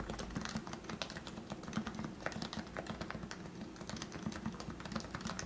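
Fingertips type steadily on the keycaps of a lubed plastic Leopold FC660C Topre keyboard with 45 g switches. The rapid keystrokes make soft, muted thocks with a low, rounded body near 215 Hz and a faint bright click on top. Each stroke dies away almost instantly.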